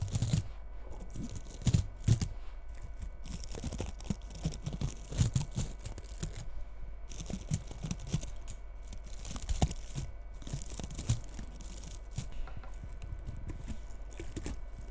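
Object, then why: Frosted bristle bottle-brush tree. A fingertip and a long nail scratch and rub the bristles of a small frosted bottle-brush Christmas tree held close to the microphone. The sound is a steady, dry crackle of rustling and tearing-like scrapes, with brief louder flicks over a low, quiet rumble.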